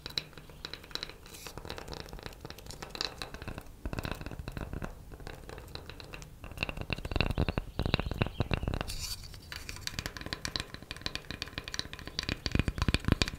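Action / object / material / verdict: tap / wooden coaster / wood / none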